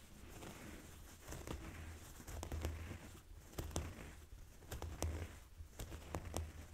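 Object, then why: Folded denim jeans. Fingernails and fingertips slowly scratch across folded blue denim jeans resting on a table. The result is a quiet, irregular rasping and rustling over a low, muffled rumble, punctuated by brief bright scrapes and clicks.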